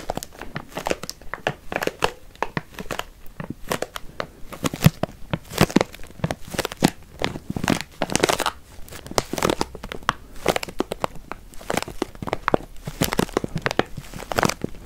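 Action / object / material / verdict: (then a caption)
scrape / paper-plastic stand-up bag filled with walnuts / laminated paper / none. A stand-up paper-plastic bag with a paper look, full of walnuts, is held in the hands and crinkled and scratched with the fingers. Dense, rapid crinkling and crackling bursts follow one another throughout, with the walnuts shifting and crunching inside.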